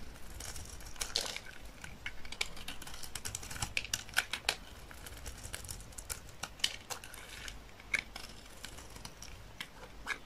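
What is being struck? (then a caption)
Bar of soap shaved with a knife blade. A utility knife blade shaves a thin remaining slab of dry olive-green soap held in the hand. The result is a steady run of crisp, bright scraping and crackling, broken by many sharp, quick clicks as flakes break away.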